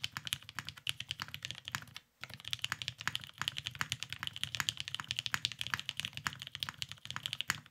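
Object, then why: Mechanical keyboard with plastic keycaps. Both hands type continuously with their fingertips on a beige, tenkeyless, Cerakoted Salamander mechanical keyboard with lubed Vintage Black switches and plastic keycaps, resting on a desk mat. A rapid, steady stream of short, bright clacks and clicks is heard, with a brief pause near the two-second mark before the typing resumes.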